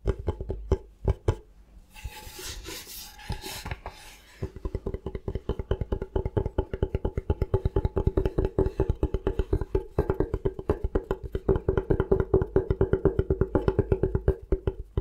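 Short nails and fingertips scratch and tap the surface of a thin, solid bamboo cutting board held upright. A few scattered taps give way to a bright, raspy scratching, followed by a long run of quick, dry, woody taps with a hollow mid-pitched tone that speeds up and grows denser toward the end.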